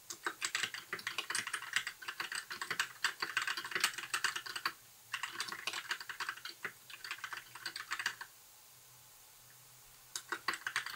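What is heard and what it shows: Fingertips of both hands type steadily on a compact white 60% mechanical keyboard with plastic keycaps and RGB backlight. Rapid, bright plastic clacks with short, dry decay come in bursts, broken by a brief pause around five seconds and a longer lull before typing resumes near the end.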